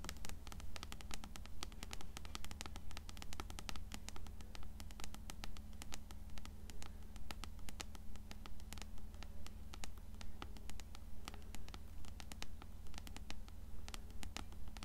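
Long nails tap and scratch quickly across the cover of an upright, closed blue paperback copy of Coraline. Sharp, dry clicks fall in a fast, steady rhythm over a faint scratchy rustle and a constant low hum.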